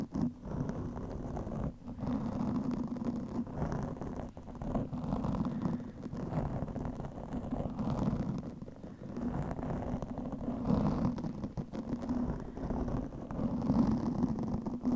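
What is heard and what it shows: A black microphone windscreen of soft, porous foam is rapidly scratched with the long fingernails of both hands. The result is a dense, continuous, muffled scratching and rustling that stays low and dark, centered in the low mids with almost no bright top. It runs steadily throughout, with only brief dips in level.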